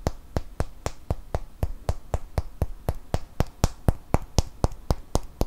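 A small solid cork wine stopper is held in one hand and tapped and scratched with the fingernails of the other. About 22 quick, dull taps come in a steady rhythm, each with a short, muffled low thump and no ring.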